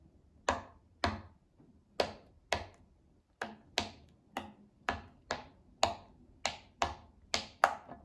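A child presses the hollow bubbles of a round pink silicone pop-it fidget toy with her fingertips, making 14 separate soft, sharp pops at an uneven pace over about eight seconds. Each pop is a quick, bright click centered around 785 Hz that dies away almost at once, with quiet gaps between them.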